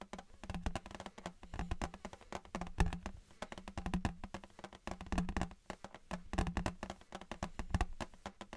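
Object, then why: Thin embossed metal license plate. Fingertips tap rapidly and irregularly on a thin embossed metal souvenir Patriots license plate held in both hands close up. Each tap is a short, dull knock with a low thump and almost no ring, coming in quiet, uneven bursts.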